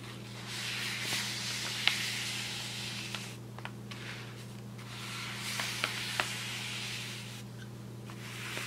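A wide paintbrush is swept across the surface of a large flat brown kraft paper shopping bag with twisted paper handles lying on a table. Each long stroke swells into a bright, airy hiss with faint papery crackles and a few sharp ticks, then fades before the next stroke begins. A steady low hum runs underneath throughout.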